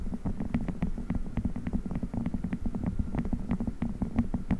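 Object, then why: Silicone spiked massage pad. Fingers quickly squeeze and rub a blue silicone spiked massage pad pressed onto a microphone grille. The result is a dense, muffled low rumble with a steady stream of soft, rapid thumps and rubbery squeaks, a faint hum-like tone sitting near 230 Hz beneath them.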